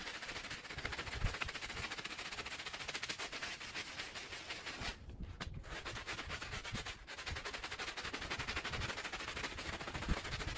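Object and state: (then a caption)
Woven fabric rug being scrubbed. A small, dirty woven fabric rug lies flat on a plastic sheet, soaked and covered in soapy foam, and is scrubbed in circles with a handheld plastic bristle brush. Dense, rapid, scratchy bristle strokes mix with wet, foamy hiss in a steady, bright wash of sound. The scrubbing eases briefly around the five- and seven-second marks before continuing.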